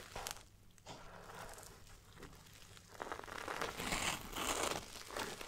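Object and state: Nylon fabric backpack.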